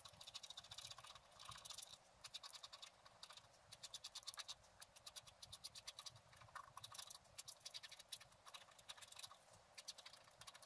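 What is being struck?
Black-coated scratch art paper scraped with a wooden stylus.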